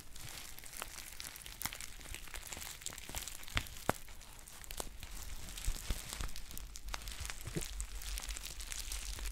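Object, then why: Foil tea pouch. A green foil tea pouch held in both hands is crinkled and scratched with long painted nails. A steady, quiet crackle of dense crinkling comes through, with bright hiss across the high range. Sharper clicks and scrapes stand out from it, and a low rumble sits underneath.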